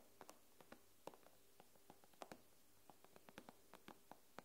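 Long nails tap the glass screen of an iPad, making about eighteen quiet, crisp clicks with a dry, mid-pitched tick and almost no ring. The taps come at an uneven pace over a faint, steady low hum.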